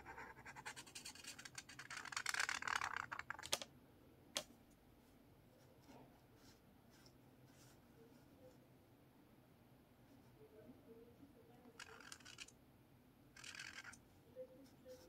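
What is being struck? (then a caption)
Marker on lined paper of a spiral notepad. A blue marker draws curved strokes across the page of a lined paper spiral notepad resting on a table, scratching the paper. A dense, bright scratching run over the first few seconds ends in two sharp ticks, followed by a quiet stretch with faint rubbing. Two shorter scratchy strokes come near the end.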